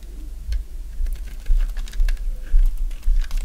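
A thin remaining slab of dry white bar soap, held in the hand, is cut and shaved with a box-cutter blade. Crisp, bright scraping and cutting strokes crackle through the clip, with soft low thumps underneath at a loose, uneven pace.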